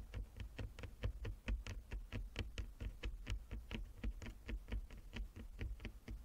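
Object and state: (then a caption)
Wooden chess board. Long nails of both hands tap rapidly across a flat wooden chess board with inlaid squares. The taps come in a quick, uneven rhythm of short, dry clicks that die away at once, each with a bright edge over a low, dull knock.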